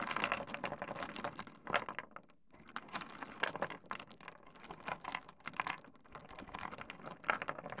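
Fingertips spread and push through a heap of small solid pebbles on a wooden desk, making the stones clack together. The sound is a dense, dry patter of short, bright clicks that rises and falls in bursts, with a brief lull just past the two-second mark.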